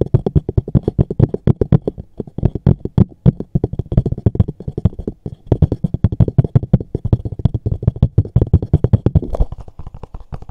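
A small, hollow, dark textured JCB cardboard box is held in both hands while fingertips and short nails tap and knock fast on its top surface. A dense, rapid stream of short, dry, hollow thuds follows, deep and boomy with almost no high end, each dying away almost instantly.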